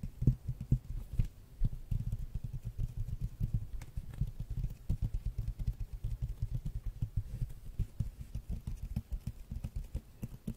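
A large, flat glossy hardcover art book with a red dragon cover is held in one hand and tapped with the fingernails of the other hand. The taps come in a quick, steady patter of soft, dull, low thumps that stop short with almost no ring.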